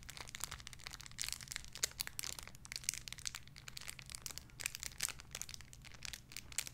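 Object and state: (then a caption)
Crinkly plastic bag holding a squishy toy. A small clear crinkly plastic bag holding a soft pink squishy toy is crinkled and squeezed with fingertips and long red nails. It makes a steady stream of bright, crisp crinkles and sharp crackles, with a faint low hum underneath.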